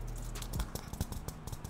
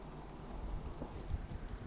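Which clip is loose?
The first.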